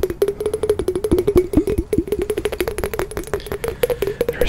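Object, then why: Glass wine glass. A clear, hollow, empty wine glass is held in both hands close to the microphone while fingertips and nails tap and scratch across the bowl. About thirty quick, dry taps with a short glassy ring near 360 Hz come in a rapid, uneven stream, with faint scratching between them and very little ring after each tap.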